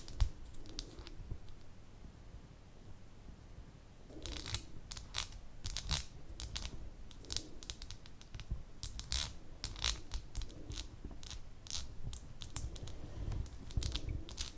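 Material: Glass.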